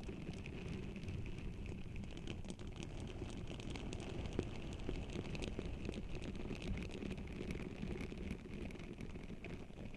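Hands with long nails press and rub a pink silicone facial scrubber pad over the bare, hollow silver metal mesh grille of a Blue Yeti microphone. The scrubbing makes a steady, dense, low rumbling rustle packed with fine crackles, with a faint hiss riding above it. The level holds even throughout.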